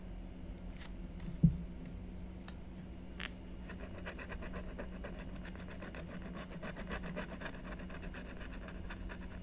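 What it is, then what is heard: Scratch-art board being scratched. A blue stylus scratches strokes into the coating of a black-coated scratch-art sheet on a card backing, while the other hand rests flat on the sheet. Quiet, bright scratching strokes sit over a steady low hum, with a single louder knock early on. The strokes grow denser and more continuous through the second half.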